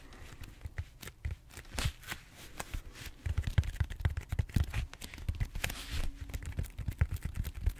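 A large, solid purple foam back roller, held horizontally, is scratched and tapped with fingertips and short nails across its textured surface. Dull, low thumps and soft scratchy rustles come in quick, uneven bursts, louder and denser in the second half, with no ring after each touch.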